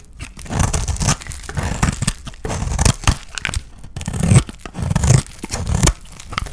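A utility knife blade scrapes and shaves a dry, solid cream soap bar held in the hand, with the flakes falling onto a pile of shavings. Repeated dry, crunchy scraping strokes come in uneven bursts with a heavy low thump and a short, dead ring-out.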